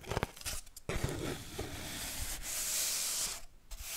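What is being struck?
Cardboard kitchen roll tube.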